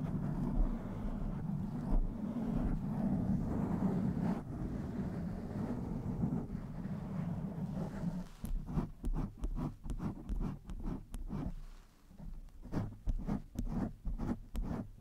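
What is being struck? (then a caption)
Foam microphone windscreen. Both hands wrap a soft, hollow blue foam microphone windscreen and scratch its sides with long nails. At first there is a steady, dull, bassy rubbing roar, which then breaks into a quick series of separate scratching strokes, each a short, muffled, low thump-like rasp.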